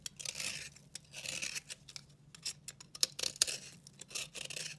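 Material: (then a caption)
Soap. A dry, solid pink-red bar of soap held in the hand is scraped and shaved with a metal utility-knife blade, sending curls and flakes off its surface. Bright, crisp scraping strokes come in short bursts and sharper clicks, with a faint low hum underneath.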